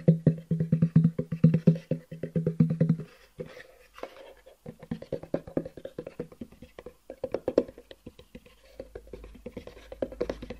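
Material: Cardboard.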